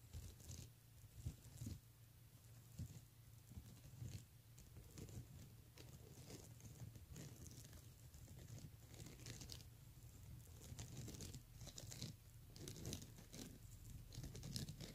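Fingernails tap and rake across the beads on the front of a pink plastic beaded handbag, making a quiet, steady patter of bright clicks and crinkly rattles. A low, constant hum sits underneath, and each click dies away almost instantly.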